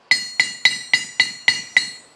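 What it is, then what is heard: Steel anvil damped by a magnet. A Vevor steel anvil with a magnet stuck to it is struck seven times in a steady rhythm. Each strike gives a bright metallic clink centred near 2 kHz that dies away quickly. The magnet damps the anvil's ringing.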